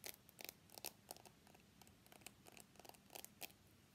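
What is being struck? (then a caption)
Smartphone steel frame edge. Fingernails scratch and tap along the steel side frame of an iPhone X held sideways. About fifteen short, bright clicks and scrapes come in irregular bursts, each dying away almost instantly. The sound stays quiet throughout, over a faint low hum.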